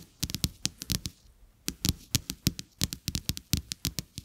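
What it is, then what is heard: Paper playing cards. Fingertips and nails scratch and tap two thin, solid, flat coated-paper playing cards with a checked back lying on a carpet. Quick dry taps, each pairing a soft low thump with a bright papery click that dies away at once, come in uneven clusters. About 23 taps sound over roughly four seconds, with a brief pause in the middle.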